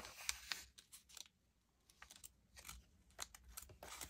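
Fingertips with dark-painted nails lift, turn, crinkle and rub the thin pages of an open glossy paper magazine, the March 2022 issue of Allure, lying on a wooden table. Bursts of bright, crisp paper rustling and crackling alternate with a quieter pause in the middle. Each sharp crinkle cuts off almost at once with no ring.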